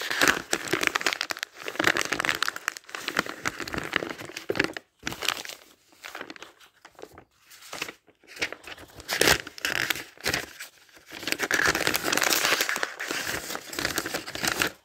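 A stack of thin pages in a thick paper dictionary is riffled rapidly by fingers. The result is bright, crinkly papery rustling in bursts of fluttering and crackling, separated by short near-silent pauses.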